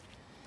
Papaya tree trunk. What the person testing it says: when you knock on it you can feel and hear the hollowness of it